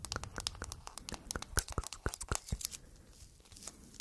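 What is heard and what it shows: Long nails tap and scratch on a clear hard plastic phone case printed with a cat and decorated with raised bead flowers. Rapid, sharp clicks and scratchy scrapes are heard, densest in the first two and a half seconds, then thinning out to softer, sparser taps.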